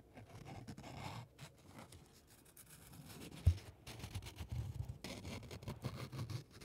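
A small crumpled piece of white paper is held between the fingertips of both hands and rubbed and crinkled near the microphone. Soft, continuous rustling and crackling stays quiet and low-heavy, with faint bright crinkles above. One sharper, louder crackle stands out about halfway through.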